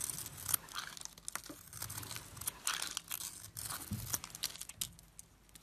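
A solid glittery silver bar of soap with a white core is held in the hand and shaved with a metal blade, peeling off white flakes. The cuts make quiet, dry, crackly scraping and tearing sounds, bright and crisp, in a run of short uneven strokes with a faint low rumble underneath.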